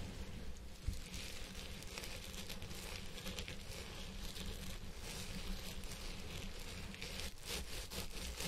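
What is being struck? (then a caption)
Synthetic fiber wig on a head form. Fingertips and nails scratch the fibers of a purple synthetic wig on a head form, working on both sides. A steady, dense rustling and crackling scratch runs throughout, with a bright, hissy edge over a strong low rumble.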